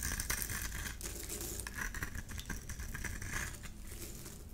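A solid yellow oval bar of soap held in the hand is scraped by a metal blade into crumbly shavings. A steady run of dry, crackly scraping and crumbling fills the clip, with bright streaks over a low rumble.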